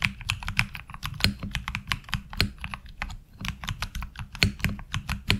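Fingertips type on a HyperX Alloy Origins Core mechanical keyboard with ABS keycaps. A rapid, uneven stream of crisp keystrokes clacks brightly over a low thocky body, each hit dying away almost at once.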